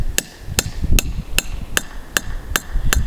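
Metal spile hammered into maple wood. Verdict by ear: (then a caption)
Tight. A metal spile is hammered into a drilled hole in a maple tree with eight sharp, evenly spaced taps, each a short bright knock over a low thud. As the spile seats, the blows sound more solid and the hammer bounces a little, the cue to stop because the tap is tight enough and harder hits could split the tree.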